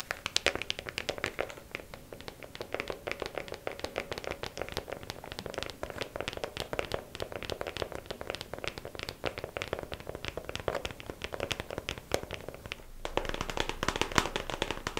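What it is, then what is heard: Clear plastic compartment organizer box. A small, hollow, clear plastic compartment organizer case filled with press-on nails is held and tapped on its lid with long acrylic nails. The result is a fast, steady stream of light, crisp clicks with bright edges and a brief, hollow plastic tone that dies away almost instantly. Near the end, the tapping grows slightly louder and denser.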